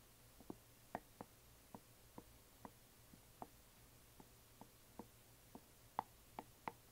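A closed, hollow yellow glitter resin or plastic coffin box lying flat is gently tapped on its sides with long nails. The result is a string of short, dry, quiet clicky taps with a hollow mid-range tone and almost no ring, spaced irregularly over a soft background hum.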